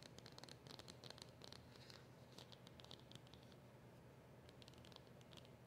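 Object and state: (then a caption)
Cardboard box. Long nails tap rapidly on a small black cardboard box with a silver seal. The quiet, continuous flurry of crisp, bright clicks and light scratchy patter runs over a soft low background rumble.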